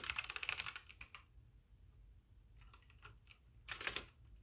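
Fingertips of both hands type on a full-size backlit mechanical keyboard with white plastic keycaps. A dense run of bright, sharp clacks is followed by a near-silent pause, a few scattered light taps, and a final quick burst of keystrokes.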